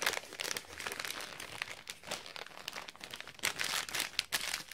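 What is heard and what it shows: Metallic gold foil wrapping paper is folded around a small box-shaped item while fingertips press, crease and crinkle the foil edges. The result is a steady run of bright, crisp crinkles and crackles with sharper bursts, almost no low end, and no lingering ring.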